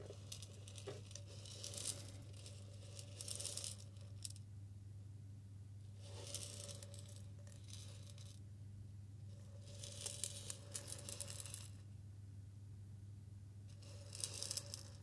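A medium glass jar with a white plastic lid and a green label, partly filled with pink salt, is held in both hands near the ear and shaken or tilted. The grains rattle and hiss against the glass in bright bursts separated by quieter pauses, over a steady low hum.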